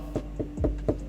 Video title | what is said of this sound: Mini JCW gets the upgrade it deserves! Simple speaker upgrade! | quite tinny very very hollow